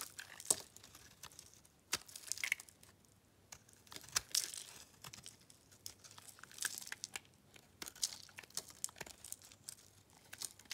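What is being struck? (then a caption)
Bar soap scraped with a blade. A metal blade scrapes and cuts dry, crunchy flakes off a solid cream-colored bar of dry soap held in the hands. Bright, crisp crunching and crackling bursts come in quick clusters with short quiet gaps, each stopping dead with almost no ring.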